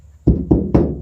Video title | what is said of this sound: Adding sound deadening material to the van #vanlife. | tell the difference sounds like metal